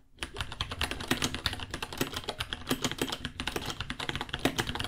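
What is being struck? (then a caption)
Mechanical keyboard with plastic keycaps. Fingertips type rapidly on a white 66-key mechanical keyboard, about 30 cm long, with plastic keycaps and a hollow case. A dense stream of sharp, bright clicks and clacks sounds, each keystroke short and dry with a slight hollow tone.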